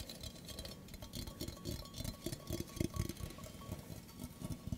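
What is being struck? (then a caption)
Stainless steel mug. A hollow stainless steel mug with a handle, held by hand near the microphone, is tapped with fingertips and nails. The result is a quick run of soft, dull, low taps with short clicky high edges, each dying away almost at once over a faint steady background hum.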